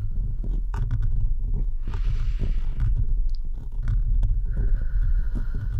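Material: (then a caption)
Metal mesh. Fingertips and nails of both hands steadily scratch the rounded metal mesh grille of a bare microphone with no cover. The result is a continuous, heavy low rumble with dense scraping texture and occasional brighter, hissy scratches rising above it.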